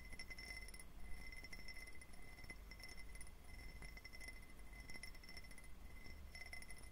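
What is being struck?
Faceted glass tumbler.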